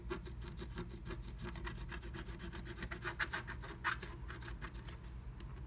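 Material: Coated paper.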